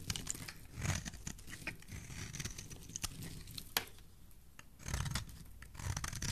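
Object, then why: Bar of soap scraped with a metal blade. A solid pink and white bar of soap held in the hand is scraped with a metal blade. Dry, crackling scrapes and crisp crunching cuts come in short bursts over a low, muffled rumble, with a few sharper snaps standing out.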